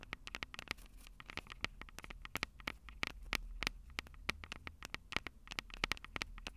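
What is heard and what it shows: Long purple nails tap and lightly scratch the metal microphone capsules on a Tascam DR-05 recorder. The result is a rapid, irregular run of sharp, bright clicks with very short ring, over faint scratchy rustling and a low rumble. Many overlapping taps stand apart across the clip.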